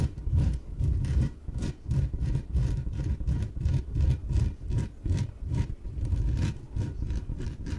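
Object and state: Inflatable PVC exercise ball.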